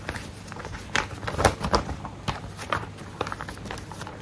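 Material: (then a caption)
Paper. A single thin white paper sheet is held upright while fingertips and nails tap and rub it and flex it. Irregular soft taps, with a few louder ones, ring out briefly over a faint steady rustle and crackle.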